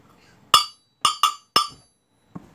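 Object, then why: Steel tumbler. A steel tumbler is tapped four times in a one-two-one pattern: a single tap, a quick pair, then a single tap. Each tap gives a bright, clinking metallic ring that fades quickly, and a fainter knock follows at the end.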